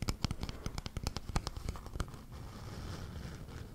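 Fingertips and nails tap and scratch the top and sides of a small, rectangular, likely hollow wooden box held in both hands. About fifteen quick, dry taps sound in the first two seconds, each with a low, hollow body and no ring. They give way to a steady, soft scratching hiss.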